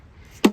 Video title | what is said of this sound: Final Tear Down 1984 Honda Goldwing GL1200 Engine Archeology Crankshaft Block Case Transmission | when it sounds hollow, kind of like that, kind of tells you that you're making some progress and separating